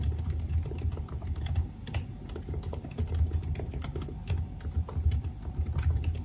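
Fingertips type steadily on a silver aluminium laptop with black plastic keys, producing a fast, continuous run of soft key taps. Each tap is a short click that dies away quickly over a dull low thump, with some brighter ticks on top. The clicks overlap throughout with only slight dips in loudness.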